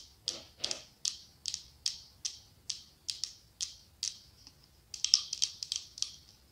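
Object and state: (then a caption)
Glass candle holder. Long acrylic nails tap the side of a medium cylindrical glass candle holder that is decorated with autumn leaves and has a candle inside. About ten evenly spaced, bright clicking taps sound, each dying away almost at once, and then a quicker flurry of taps follows near the end.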